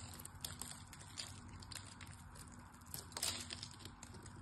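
A small knife chips at the surface of a solid striped pink-white soap bar, making a quiet run of crisp, crackly scraping clicks. The sound is mostly bright and high with a low rumble underneath, and a few sharper, louder snaps stand out near the end.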